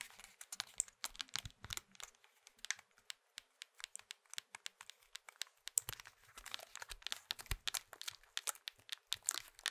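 A small hollow plastic Nokia mobile phone is held in the hands while fingertips press and click its keypad buttons and tap the casing. The result is a dense, quiet stream of short, dry, bright clicks and taps with no ring, plus a few soft low thumps.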